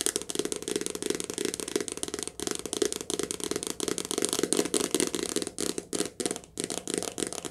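A softcover paperback book, held near the face and turned sideways, has its glossy cover tapped fast with long nails. The result is a dense, continuous stream of quick, dry, crisp clicks with a hollow papery body around 400 Hz and bright highs. Each tap dies away almost instantly, with brief breaks near 2.3 seconds and again around 6 to 6.5 seconds.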